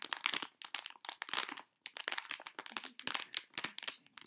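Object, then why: Metallized plastic foil bag with soft contents. A sealed Tokidoki Moofia plush clip-on blind bag made of metallized plastic foil, filled with a soft plush toy, is held in both hands while long-nailed fingertips squeeze and crinkle it. Dense bursts of bright, crisp crinkling and crackling follow one another, with almost no low end and a brief pause near the middle.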